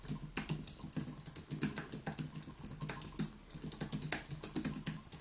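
Both hands type rapidly with their fingertips on a white Apple Magic Keyboard, a plastic-key aluminium keyboard resting on a wooden desk. It produces a dense, steady stream of short, crisp clicks with bright high-end snap and a soft low thud under each keystroke. Each tap dies away almost instantly.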